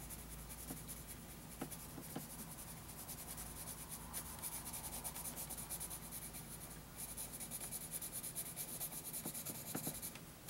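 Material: Paper.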